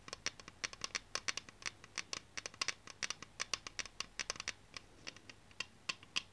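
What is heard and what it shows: Long painted nails tap and scratch along the body of a full-size aluminium aerosol can of Clair foam cleaner, its blue plastic cap on, held in the hands. About 39 sharp, dry clicks ring bright and metallic with an almost instant decay, interspersed with faint scratching, and there is almost no low end.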